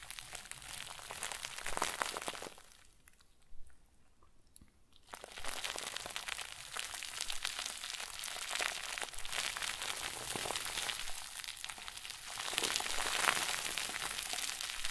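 A round white plastic bag stuffed into a crinkle ball is squeezed and crumpled with both hands, giving dense, bright crinkling and crackling. The crinkling pauses briefly for a near-silent stretch broken by a single small click, then resumes, rising and falling in intensity.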